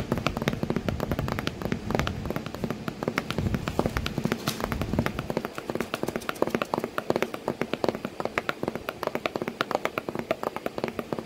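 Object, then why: Cardboard box. Fingers tap rapidly and steadily on a cardboard box while a cat sits inside it. The taps are short, dry and hollow, with dull low thuds that stop almost instantly. They run as a dense, irregular patter through the whole clip.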